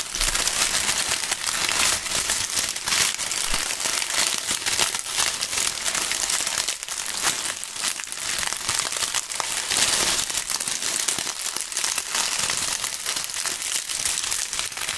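A large bunch of thin, brittle, dry brown maple leaves is crumpled and rubbed between two fingerless-gloved hands held above a chessboard. The result is a steady, dense, bright crinkling and crackling that runs throughout, with almost no low end and only a slight softening around the middle.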